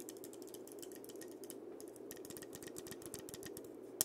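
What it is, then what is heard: Dried-gourd maraca, tapped and scratched. Fingertips and nails tap and scratch the round body of a single hollow, painted dried-gourd maraca with a parrot design, held close to the recorder. Quick, dry, bright clicks and scratches patter unevenly over a steady soft hiss, and one sharper, louder tap lands near the end.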